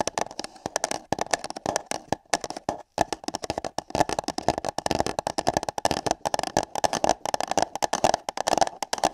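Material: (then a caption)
Paper. Long nails and fingertips tap, scratch and grip hollow paper cups placed over microphone ears. Dense, irregular bursts of hollow midrange taps and scratchy crinkles follow one another closely, with a brief silence just before the third second.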